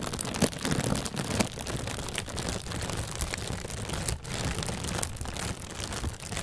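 An inflated, hollow white plastic bag is squeezed and crinkled with the hands. The result is a steady, dense crinkling rustle with a low, hollow rumble underneath and brief bright crackles throughout.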